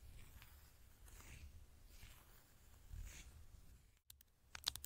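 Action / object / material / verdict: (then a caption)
tap / aluminium smartphone back / aluminium / none. Long nails and fingertips scratch and tap across the flat, thin, solid gold aluminium back of a smartphone held with the back facing out. Soft, hissy scratching swishes rise and fall over a low background rumble, then a brief near-silence gives way to sharp, bright metallic clicks that die away almost instantly.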